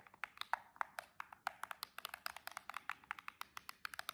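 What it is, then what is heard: Cardboard box tapped with nails. Long chrome and jeweled nail tips tap rapidly on the narrow edge of a silver cardboard nail box, making about 29 quick, dry clicks over four seconds. Each tap is short and bright, centered near 900 Hz with crisp high edges, and stops instantly with no ring.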